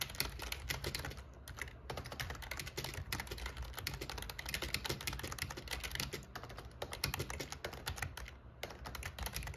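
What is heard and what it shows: Fingertips type steadily on the black plastic keycaps of a plastic membrane RGB gaming keyboard with a metal plate. The result is a dense, continuous run of short, dry clicks and clacks with bright highs, over a low, steady hum.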